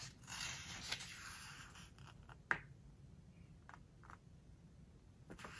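A page of a glossy-paper book is turned and then smoothed flat with fingertips. A bright, airy rustle sweeps across the page, followed by a sharp papery crackle and several softer brushing strokes over a faint low background hum.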